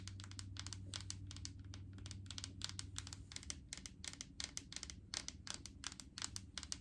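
Long painted fingernails tap rapidly on the labeled side of a large, clear plastic jar full of coconut oil. The taps are light and crisp, irregular and bright, with almost no ring. A low steady hum underneath fades out after about three seconds.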